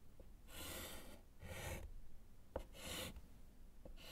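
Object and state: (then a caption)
Chalk writing on a slate chalkboard. A gloved hand writes and underlines with yellow chalk on a small, flat, solid slate chalkboard set in a wooden frame. Three long, dry, broadband scratching strokes rasp across the surface, separated by short, sharp taps of the chalk. The strokes are soft, with a bright scratchy top over a low rumble.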